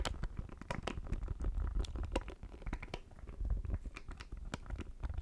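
A small, hollow black plastic audio interface is tapped and scratched with fingernails close to the microphone. The result is a dense patter of quick, dry clicks and scrapes with a deep, low thump underneath and bright crackly edges.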